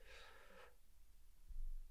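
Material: Nothing is struck.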